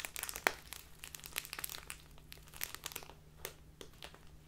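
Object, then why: Plastic tea bag. A small plastic bag of loose tea stands upright on a table while its top is crinkled and scratched with fingertips and long nails. Dense, bright crinkling and sharp crackles come in irregular bursts, with a steady low hum underneath.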